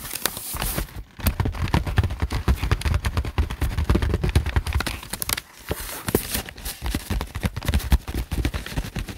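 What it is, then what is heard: Plastic-covered notebook. Fingertips tap and scratch across the glossy green plastic cover of a thick notebook, a solid stack of paper resting on a desk mat. The taps come in dense, rapid flurries of short, dull, low thuds with a dry, crackly scratching on top, and they stop briefly around the first and fifth seconds.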